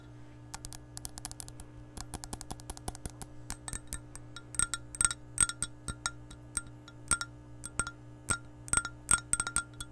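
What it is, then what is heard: Empty glass measuring cup. An empty, hollow clear glass measuring cup is tapped on its wall and rim with long nails. The result is a rapid, uneven run of sharp, bright glassy clicks with short high rings over a low steady hum.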